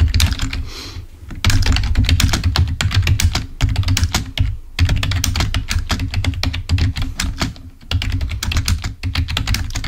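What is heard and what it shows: Fingertips of both hands type rapidly on a full-size black plastic Microsoft keyboard resting on a table, producing dense runs of crisp, bright key clicks over a deep, thumpy low body. The tapping comes in bursts separated by brief pauses, with each click dying away quickly.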